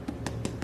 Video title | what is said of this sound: Taste Review: Janosik Watermelon, Canteloupe, Tigger Melon & Pickled Watermelon Rinds | you can also tell when you tap it, it doesn't really have that hollowy sound